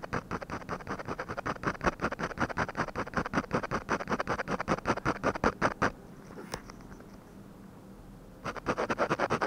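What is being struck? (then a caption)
Ballpoint pen on a paper sheet. A hand scratches small shading strokes with a ballpoint pen on the eye area of a drawing on a flat paper sheet resting on a desk. A rapid, uneven run of dry, scratchy strokes lasts about six seconds, then gives way to a quiet pause with one faint tick. The strokes then resume briefly at the end.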